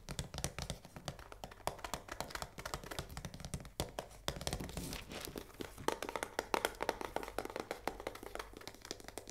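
Long nails tap rapidly on the front face and window of a full cardboard risoni box held in one hand. The result is a dense stream of quick, dry, hollow taps with a light crinkly edge and almost no ring, over a faint steady low hum.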